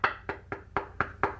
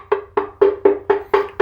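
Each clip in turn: First: Six crisp, short taps with a mid-high click near 1.3 kHz: a ceramic wall tile that is solidly bonded. Second: Seven quick, even taps with a clacky mid tone near 400 Hz; the tile sounds hollow behind.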